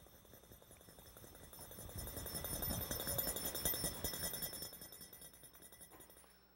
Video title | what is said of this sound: Physics Demonstrations by Sprott, Chapter 3, Sound, 3.4 Bell in Vacuum | I'll try to shake it while I'm doing that and you'll hear the sound come back